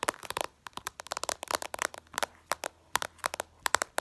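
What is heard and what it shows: Long purple nails tap fast on the reflective glass screen of a smartphone lying flat. The result is a rapid, uneven series of sharp, dry clicks with a bright, crackly edge and no low end, each dying away almost instantly.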